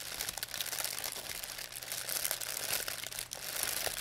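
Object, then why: Thin plastic bag. A thin white plastic pharmacy bag with red and blue print, crumpled into a ball, is crinkled and squeezed in both hands by fingers with long painted nails. The result is a steady, bright, crackling crinkle with dense sharp snaps and very little low end throughout.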